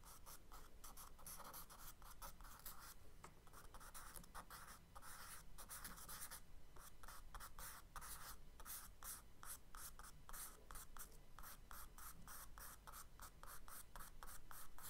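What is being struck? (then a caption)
Charcoal stick on kraft paper sketchbook page. A charcoal stick scratches short, dense strokes across the brown kraft paper page of a spiral sketchbook lying flat, drawing textured marks. The quiet, dry scratches come in rapid bursts of bright rasping over a steady low hum.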